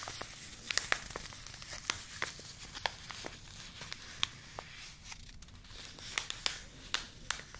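Long nails crinkle and scratch a small, flat, thin white Yogi Tea paper sachet held close. Bright, dry crackles and sharp ticks sound over a soft, steady papery rustle. Each snap dies away almost instantly.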